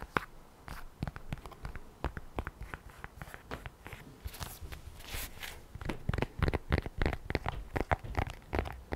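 Long nails tap and scratch along the folded panels of a lavender polyurethane and microfiber iPad folio cover, held upright with the tablet inside. Quick, dry, irregular taps mix with short scratching strokes, with a longer brushy scrape in the middle. The taps grow louder and more thumping toward the end.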